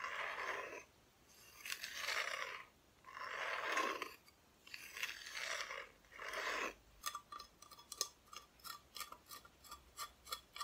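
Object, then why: Bare wooden back of a flat cutout decoration. Long nails scratch across the bare, unfinished wooden back of a flat, solid Christmas decoration cutout, folded and held close, in five broad, hissing strokes. Then they tap it in a quick, uneven run of short, dry, bright clicks.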